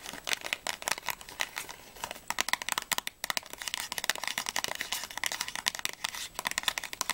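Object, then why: Small cardboard candy box. Long nails tap and scratch rapidly along the sides and edges of a small, closed, hollow printed cardboard box of Ahoj-Brause fizzy candies, its contents not visible. The result is a dense stream of quick, dry, bright clicks and scratchy rustles with almost no low end, each tap dying away instantly.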